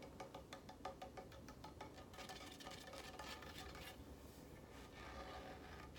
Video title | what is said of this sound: Sledge’s Hammers -Siege ASMR- | Sounds like wood, though, ironically, even though it's not made from wood.